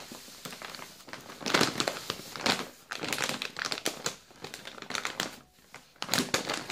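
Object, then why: Plastic biscuit bag. A full yellow plastic Balocco biscuit bag is squeezed and crinkled with the fingers. Bright, crackly crinkling comes in bursts that rise and fall, with very little low end. The crinkles die away quickly between squeezes.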